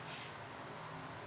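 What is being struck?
Nothing is struck.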